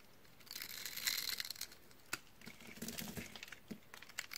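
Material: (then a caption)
Soap. A teal dry bar of soap, held in the hand and scored into a grid, has its cubes crushed off by fingers while a utility knife blade scrapes and cuts the bar. Dense, bright, crunchy crackling peaks in the first half, followed by a sharp snap and a run of drier scraping and cutting crackles. Each crunch is short with almost no ring.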